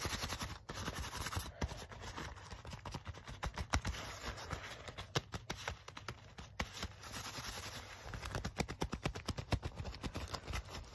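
Fingertips and nails scratch, rub and tap the soft leather of a black leather jacket held in the hands. Quiet, rapid, dry scratching and brushing mix with many short soft taps, with a dull low thump underneath and a faint bright hiss on top.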